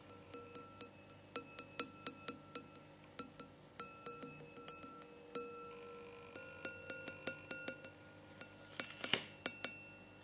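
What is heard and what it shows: A wine glass holding water is tapped in a quick, uneven series of more than thirty light strikes, each giving a bright glassy clink. The clinks carry steady, high ringing tones that fade quickly between taps, and the clip stays quiet with almost no low end.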